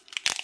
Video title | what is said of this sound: WIP - Holiday Greetings | shake them around you can hear it is popping and I will say as long as it's popping this way there are still that need to be split